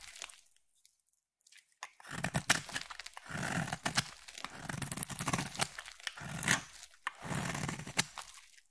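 A solid, palm-sized blue bar of soap is scraped and carved with a metal utility blade, shaving off curls of soap. After a quiet start, dense, crisp scraping strokes crunch and tear in repeated bursts. Each burst has a bright, gritty edge and a low thump underneath.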